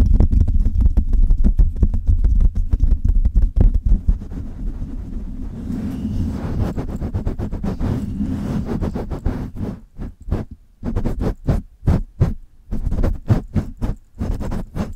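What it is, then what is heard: Metal microphone mesh grille being scratched and tapped. Long red nails scratch and tap the hollow metal mesh grille of a Blue Yeti microphone while a hand cups it. Rapid, irregular taps land as deep, boomy thumps, then give way to a softer scratching stretch. The clip ends with sparser, sharp taps separated by brief silences.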